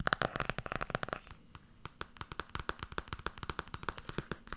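Fingernails tap fast and scratch across the front and back covers of a blue Tarot hardcover book. A rapid string of crisp, dry clicks with no ring sits around 1.4 kHz, plus a faint scratchy rustle. The tapping is densest and loudest in the first second, eases briefly, then picks up again in an uneven rhythm.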